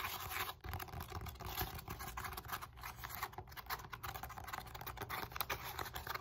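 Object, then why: Polyethylene foam roller end face. Long nails rapidly tap and scratch across the porous surface of the flat round end face of a solid black, textured foam roller made of molded polyethylene foam, held close. The result is a dense, continuous stream of dry, crackly scratches and soft taps with a bright hiss and no ring after each contact.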